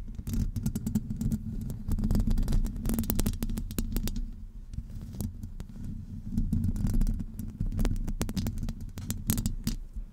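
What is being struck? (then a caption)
Metal wire-mesh microphone grille. Long acrylic nails scratch the top and sides of a hollow metal wire-mesh microphone grille. The result is a dense, muffled rumble dominated by deep low-end throbbing, with brief bright crackly scrapes flickering through it.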